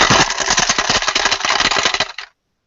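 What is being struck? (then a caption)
Toy guitar with coins inside. A child's hollow toy play guitar with a bunch of coins trapped inside, which can't be removed, is shaken. The coins make a bright, dense metallic rattle for just over two seconds before it stops abruptly.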